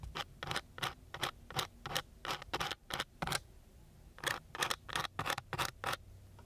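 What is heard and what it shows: A thin wooden stick scratches across the grit of a coarse brown sandpaper sheet in repeated short strokes. Each stroke makes a dry, bright rasp. The strokes come quickly in an uneven rhythm, with a brief pause midway before they resume.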